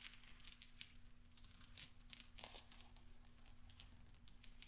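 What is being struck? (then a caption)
Small steel balls. Fingertips and nails tap and roll small solid steel pachinko balls on black velvet so they clink against each other. Soft, bright metallic clicks and ticks come in quick, irregular clusters over a steady low hum, each fading almost at once.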